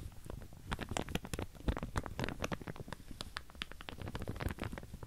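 Long painted nails run and scratch across the teeth of a large pink plastic wide-tooth comb held up close. The result is a dense, uneven stream of quick dry ticks and scrapes with a soft, low-heavy body and bright, clicky edges.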